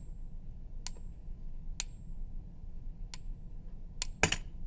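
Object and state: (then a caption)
Fake silver bullion coin. A suspect 1 oz silver Canadian Maple Leaf coin, bought in a lot from another dealer, is balanced on a fingertip and tapped several times with a pen over low background rumble. Each tap gives only a faint, short, tinny ping that dies away almost at once, marking the coin as fake.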